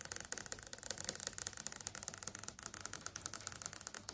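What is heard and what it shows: Multiple long acrylic nails tap fast on a large flat LCD TV screen with a plastic-film panel. A continuous run of quick, light clicks sounds bright and high, with almost no low end. Each tap dies away almost instantly.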